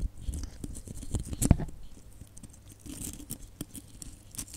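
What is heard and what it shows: A cluster of small hollow red glitter plastic Christmas baubles with gold caps is scratched and tapped by long nails. Soft, low scratching runs under quick clicky taps with bright edges, with the loudest tap near the middle of the clip.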